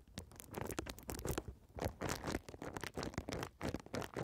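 A folded strip of clear plastic bubble wrap with air-filled bubbles, held horizontally over the microphone, is scratched and tapped by long red nails. The result is a dense run of quick, dry scratches and taps, with short crinkly bursts that reach up into bright high tones over a soft low body.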